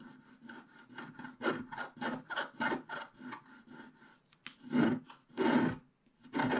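A wooden stylus scrapes the black wax coating of a flat scratch-art card with a colored base, working in the upper sky area of the page. About fifteen short, rhythmic scratching strokes rasp across the surface, each a dry, gritty rub with a low hum near 220 Hz. Three louder, fuller strokes come near the end.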